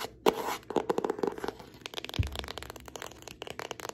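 Long fingernails tap and scratch the front cover of a hand-sized yellow hardcover notebook with an elastic band, held upright, its bound pages making it solid. The result is a rapid series of short, dry clicks with a hollow mid-range knock around 480 Hz, mixed with bright scratching and one deeper thump partway through.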